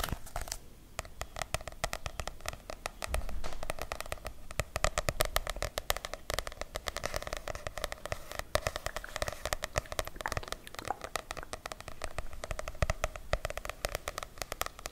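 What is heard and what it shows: A medium softcover paperback book with a light blue cover is held in both hands while long nails tap and scratch its front and back. The result is a dense, continuous stream of quick, dry clicks and crackly scratching over a low background rumble, with a faint resonant tone near 625 Hz.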